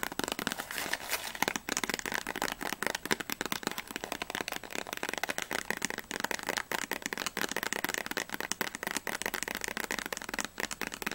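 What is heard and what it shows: Fingertips and long nails rapidly tap and scratch the top and front faces of a small printed cardboard Ahoj-Brause candy box, which seems still closed and hollow, with its contents not visible. The result is a dense, fast run of dry, crisp clicks and scratchy rustles with a bright edge, almost no low end, and each tap dying away almost instantly.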